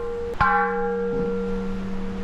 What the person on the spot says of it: listen how this thing Rings like a bell